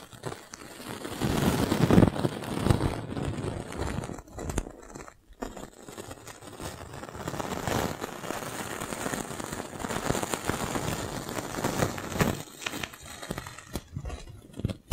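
A clear, thin, hollow, fist-sized plastic magic balloon bubble is held and squeezed between both hands and rubbed with the fingers. It makes dense, continuous crinkling and crackling with brief crunchy bursts, weighted toward the low end with little high content. The loudness swells and dips throughout, with a brief near-silent gap around the five-second mark.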